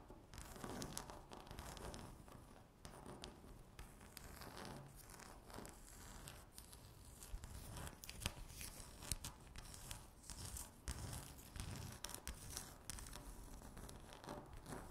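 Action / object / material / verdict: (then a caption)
scrape / speckled laminate tabletop / laminate / none. Long natural fingernails scratch across a flat, solid, speckled granite-look laminate tabletop, making continuous rough, tearing scrapes with crackly, bright texture. The sound comes in uneven bursts of quick strokes, with a dry low rumble beneath, and each scratch stops almost at once without ringing.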